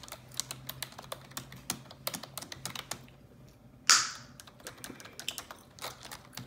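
Long neon-yellow acrylic nails tap and type on a black plastic desktop computer keyboard with hollow keys, making a steady run of bright, sharp plastic clicks over a faint low hum. After a brief pause near the middle, one louder, bright clack with a short hissy tail stands out, and then the quick clicking resumes.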